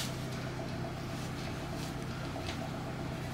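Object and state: Nothing is struck.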